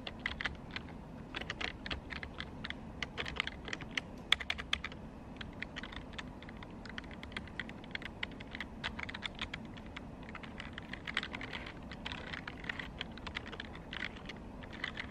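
Fingers with long pink acrylic nails type rapidly on a black plastic computer keyboard. A dense stream of quick, bright, clicky keystrokes stops dead with no ring, over a low, steady background rumble.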